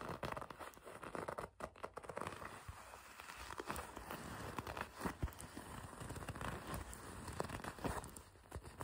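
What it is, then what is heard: Leather jacket. Long red nails grip, pinch and scratch the black leather section of a racing jacket. The result is a quiet, continuous run of soft crinkling, rustling and tearing-like scrapes with short crackly ticks, weighted toward low thuds and only a little high-end brightness.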